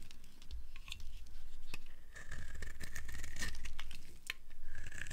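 A metal knife blade scrapes and shaves the surface of a hand-sized, solid block of dry green soap held in the palm, with soap shavings piled nearby. Crunchy, crumbly cutting and scratching sounds come as quick, crackly bursts with a bright edge over a steady low rumble.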